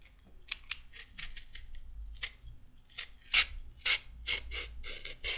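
A handheld peeler scrapes down a raw carrot, taking off thin orange strips. A run of short, bright, rasping strokes comes at an uneven pace, a few louder than the rest, with a faint low hum underneath.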